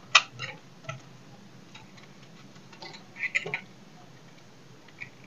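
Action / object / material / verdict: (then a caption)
scrape / soap bar cut with a knife / soap / none. A knife blade carves and scrapes a solid, dry bar of soap held in the hand, breaking off small chunks. Short, bright, dry clicks and crisp snaps come in scattered bursts with faint scraping between them, and each one dies away almost instantly.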